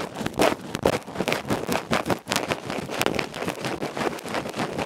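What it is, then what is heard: Metal microphone capsule being scratched. A bamboo ear pick rapidly scratches the black felt face of a small hollow aluminium electret microphone capsule held in the fingertips. The result is loud, fast, irregular scratching and rustling bursts with a bright, crackly texture and little low end.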